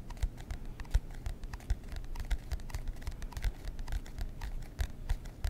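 Fingernails scratch the cardboard cover of a marbled composition notebook held close to the mic. The result is a quick, dry run of short tapping scratches with bright clicks over a low, steady rumble. The strokes come in irregular bursts throughout.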